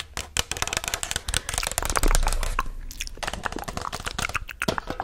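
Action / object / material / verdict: tap / paper cup / paper / none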